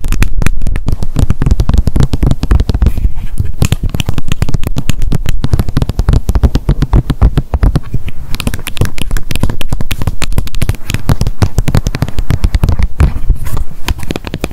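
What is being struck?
Small plastic bottle with cap.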